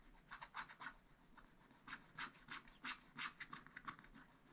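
A wooden stylus scratches a black wax-coated scratch-art sheet in a spiral-bound pad. Short, dry, rasping strokes repeat in an uneven rhythm of about three per second, with a bright, papery scrape centred near 1 kHz. The strokes are quiet and die away almost instantly.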